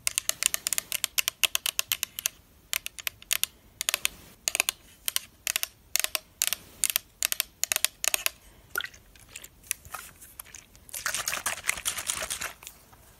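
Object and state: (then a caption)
Plastic spray bottle tapped with nails. Long black nails tap rapidly on the body of a translucent pink plastic spray mist bottle with a black cap, hollow and holding liquid. Quick, bright, clicky taps come in bursts separated by short pauses, then blur into a dense, fast rattling flurry near the end.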